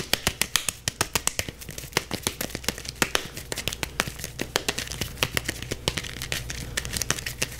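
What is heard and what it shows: A solid yellow softball with a stitched leather cover, held in both hands, is scratched and tapped fast with the fingertips. The result is a rapid string of sharp, bright clicks and scratchy crackles that decay almost instantly, over a faint steady low hum.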